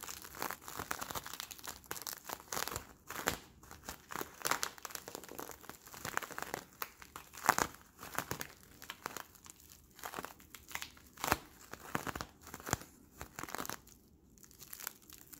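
A clear, hollow, sticky, palm-sized plastic Bloonies bubble is squeezed, crumpled and crinkled between the fingertips of both hands. The result is a steady stream of dense, dry crinkling and crackling with bright, sharp snaps scattered throughout, little low end, and no lingering ring.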